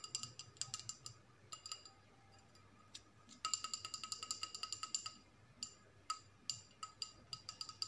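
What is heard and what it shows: A small, hollow, empty clear glass bowl with a label is held up in both hands and tapped and scratched with long acrylic nails. The result is a quick series of bright, sharp clicks and clinks with a high glassy ring that fades almost instantly, including a dense burst of rapid taps in the middle.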